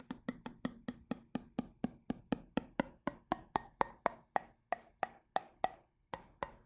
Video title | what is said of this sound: ASMR Tapping : Que Ressens-Tu ? | Le bocal avec de l'eau, incroyable celui-là, en tapping, avec le changement de son en fonction de l'eau